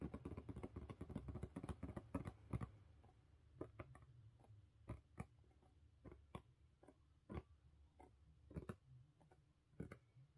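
Long pink nails on both hands tap fast on the lid of a closed, hollow blue corrugated cardboard mailer box. A dense flurry of quick, dull, hollow taps fills the first few seconds, then slows to scattered single taps. Each tap is short and low with almost no ring.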